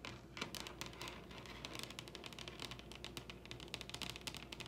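Long red-painted nails of both hands tap rapidly on the top of a large solid wooden dining table. A quick, uneven stream of sharp, bright clicks with very short decay plays over a steady low hum.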